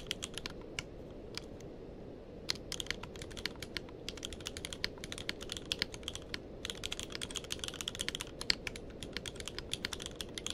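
Fingertips of both hands type continuously on a tenkeyless mechanical keyboard with plastic keycaps, producing rapid, sharp, bright clicks over a steady low background hiss. The keystrokes are sparse at first, pause briefly near the two-second mark, then return as a dense, fast stream of clacks that carries on to the end.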